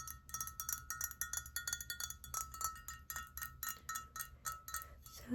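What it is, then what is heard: Ceramic mug. Fingernails tap on a hand-painted ceramic mug, made by painting a plain, uncolored ceramic mug at a pottery painting studio. A rapid series of bright, clinking taps rings out with a short chime-like tone around 1.3 kHz. The mug sounds normal.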